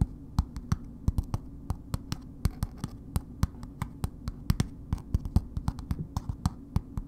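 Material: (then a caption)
Soap, paper. A solid bar of soap in a red paper wrapper, held upright, is tapped with long nails. It gives a steady series of short, crisp clicks with bright, sharp attacks that die away almost instantly, over a constant low hum.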